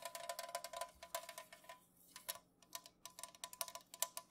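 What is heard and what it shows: An unopened, full Pepsi aluminum can lies on its side on a mat and is tapped quickly with long nails and fingertips. The result is a dense run of short, bright clicking taps with a light metallic ring near 1 kHz. Bursts come in quick clusters with a brief lull midway.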